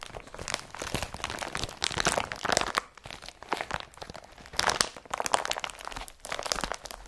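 An empty blue IKEA BRATTBY woven polypropylene carrier bag is rubbed with the nails and gathered up by hand. The result is dense, crunchy crinkling in uneven bursts with brief quieter gaps, bright and centred around 1 kHz, with very little low end.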